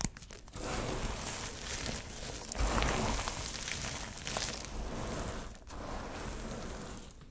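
Fingers grab, squeeze and crumble chips from a heap of small, multicolored, dry soap shavings and fragments, making a dense, continuous crunching and crinkling with bright rustling edges. Hands then rest and press flat on the pile, and the crackle settles into a softer, steady crunch.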